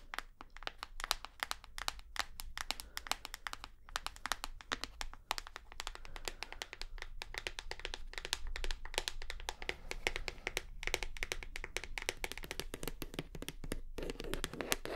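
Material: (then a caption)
Plastic. Long nails tap rapidly across the textured base and sides of a full plastic shower gel bottle. The dense stream of dry, bright clicks dies away almost instantly, over a faint steady low hum.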